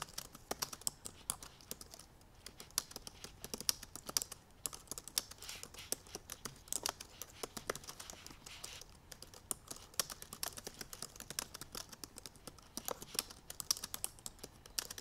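Both hands type rapidly on the black plastic keys of a silver aluminum MacBook Pro keyboard, using fingertips and painted nails. Dense streams of light, bright, clicky taps stop short with no ring, with some taps standing out louder than others.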